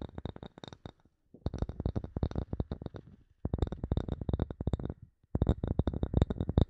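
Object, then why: Small bamboo wood block. Fingernails and fingertips tap and scratch a solid, palm-sized block of light bamboo wood in four quick flurries separated by brief pauses. Each tap is short and dry, with a dull low thump, a faint bright click on top and almost no ring.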